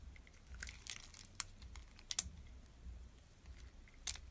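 A hand-sized solid red translucent glycerin soap bar held in the palm is scored and shaved with a utility knife blade, and small cube chips fall off. Quiet, dry, bright scraping and crisp clicks come through, with several sharp peaks that die away almost instantly.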